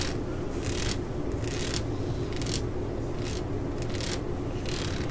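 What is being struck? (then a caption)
Ribbed rubber hammer grip. Long nails scratch along the ridges of a ribbed solid rubber hammer grip resting on a mat. The sound is a series of bright, raspy scraping bursts over a steady low rumble.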